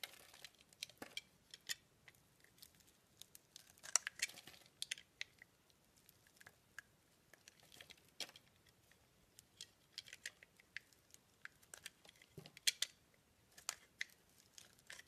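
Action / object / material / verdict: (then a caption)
scrape / solid bar of soap scraped with a metal blade / soap / none. A metal blade scrapes pink shavings off the center of a solid round soap disk with a green rim and a pink center. The sound is a quiet series of short, bright, crisp scraping and crackling bursts with almost no low end, spread unevenly across the clip with brief near-silent gaps between strokes.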